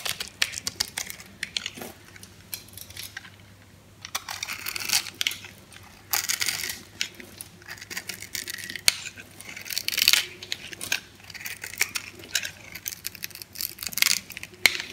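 A metal blade slices and scrapes cubes off an orange solid dry soap bar held in hand. The result is a steady run of crisp, bright crunches and sharp scraping clicks in short bursts, with quieter pauses between cuts and almost no low end.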